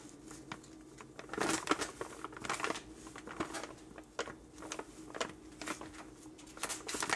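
A 12 oz printed plastic, foil-lined coffee pouch labeled "The Pumpkin King," full of ground coffee, is held in the hands and squeezed and crinkled with the fingers and thumbs. Quiet, bright, irregular crinkles and crackles come in short bursts, with louder flurries near the start and end, over a faint steady low hum.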